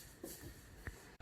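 A loaf of bread, baked for 35 to 40 minutes at about 200 degrees, is tapped, giving soft, dull, low thuds over a faint background hiss. The hollow sound shows the bread is baked through and ready to come out of the oven.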